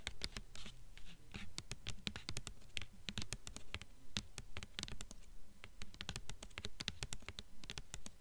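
Long fingernails on both hands scratch and tap the glossy paper dust jacket on the front cover of a blue hardcover book. Quick, uneven taps come in a dense stream, each a short dry click with a bright edge over a soft low thump. Brushing, scratchy rustles fill the gaps between them.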